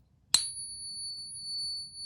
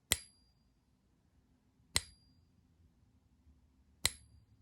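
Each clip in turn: First: One light tap draws a clear high ping that rings on steadily, typical of a genuine gold coin. Second: Three bright taps on a pure gold coin, each a high ting that fades within half a second: genuine soft gold.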